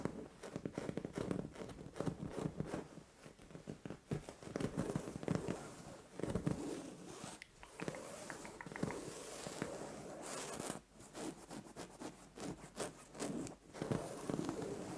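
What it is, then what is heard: Fabric bed cover being scratched. Long orange nails scratch and rub a soft, padded white fabric bed cover, and fingertips drag across it. Quiet, dry rustling and scratchy brushing strokes come in quick runs, with a few brief pauses between bursts of activity.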